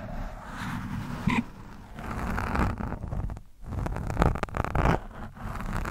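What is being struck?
Foam microphone windscreen scratched with a metal screwdriver tip.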